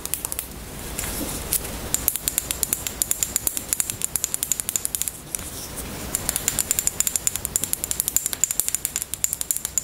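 Long nails tap and scratch the label and cap of a small white plastic cosmetic bottle held in the hands. Dozens of quick, crisp, high-pitched clicks come in fast bursts. Brief stretches of soft, hissy scratching fall around the one-second and five-second marks.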